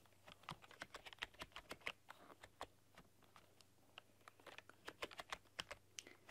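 Fingertips and long painted nails type rapidly across a full-size black plastic keyboard with rainbow LED backlighting. Quick, irregular runs of sharp, bright plastic clicks and taps stop dead after each keystroke, over a faint steady low hum.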